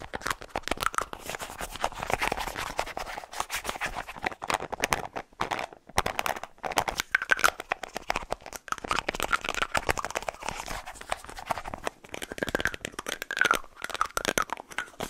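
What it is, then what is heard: Plastic deodorant stick. A small, hollow white plastic deodorant stick with a light blue plastic cap is tapped and scratched with fingernails close to the mic. Fast, dense clicks and scratchy scraping sit mostly in the mid range around 1 kHz, with little low end. Each hit is dry and dies away almost at once.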